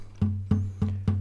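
A wooden classical guitar soundboard is tapped four times, each tap giving a short knock followed by a low, humming resonance near 98 Hz that sustains between taps. The tap tone sits slightly below G, not quite between G and F sharp, marking the guitar's body pitch.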